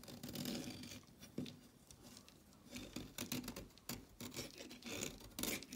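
A red-handled blade rasps and scrapes a solid orange chalk stick held over a pile of shavings. It makes a series of dry, gritty scraping strokes with bright, hissy high-end texture and a soft, low body, and the strokes swell and fade in uneven bursts between quieter moments.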